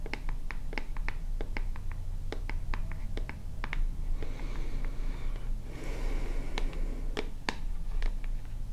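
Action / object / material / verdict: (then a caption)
tap / small plastic cosmetic bottle / plastic / none. A small white plastic lotion bottle with a purple cap is tapped and scratched with long nails. Quick, sharp, dry clicks come in bursts, broken up by stretches of soft, hissy scratching, all over a steady low hum.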